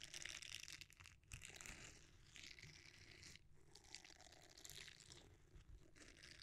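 A red silicone bristle scrubber is rolled, then cupped and squeezed with both hands. This produces a dense, continuous bright crackling and crinkling texture with a soft low rumble underneath, briefly dipping quiet around one and three and a half seconds.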